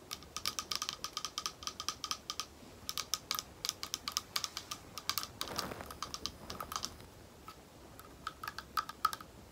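Long nails tap rapidly on a small, thick, clear glass bowl that is hollow and empty, making bursts of short, bright clicks with a faint ringing tone around 1.3 kHz. The taps come in quick runs separated by brief pauses, with a softer, smeared swell of sound near the middle. Each tap dies away almost instantly.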